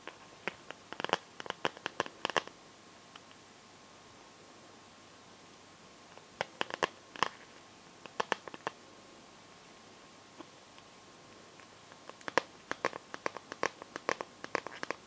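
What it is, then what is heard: Plastic glitter liquid phone case. Fingernails tap and scratch the back of a phone in a plastic glitter liquid case, near the camera cutout. Quick, sharp clicks with bright, brief scratches come in three bursts separated by quiet pauses, each sound ending almost instantly.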